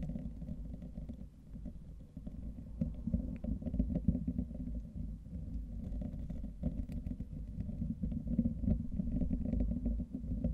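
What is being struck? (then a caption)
Wire-mesh microphone grille. Fingertips and short nails scratch and rub the rounded wire-mesh grille of a hollow, fist-sized condenser microphone head, with both hands cupped around it. The result is a dense, muffled, continuous rumbling scratch, heavy in the low end with a deep hollow resonance and almost no bright content, swelling and dipping unevenly throughout.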